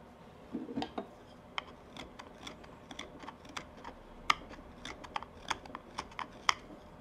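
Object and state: Wooden pipe bowl being whittled.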